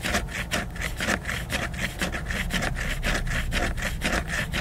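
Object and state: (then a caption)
Laminated cardboard hardcover book. Fingernails scratch and rub the cover of a large, solid, flat hardcover book made of glossy laminated cardboard. The result is a quick, roughly rhythmic series of dry scratching strokes, about two per second, with bright hiss over a low, dull rumble.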